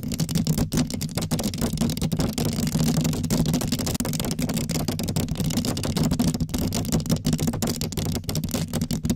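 Long acrylic nails on both hands scratch and tap a black foam windscreen covering a microphone. The result is a dense, continuous crackling rustle over a strong low, muffled rumble, with quick uneven taps and a brief drop to near silence around the fourth second.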